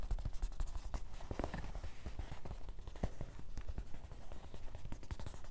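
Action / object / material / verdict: tap / canvas fabric fanny pack / canvas / none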